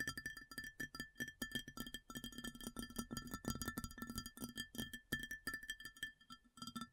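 Long fingernails tap rapidly across a large, round, empty white ceramic plate. The result is a dense run of quick, sharp clicks with a bright ringing tone near 1.3–1.8 kHz over a soft low thud, each tap dying away almost at once.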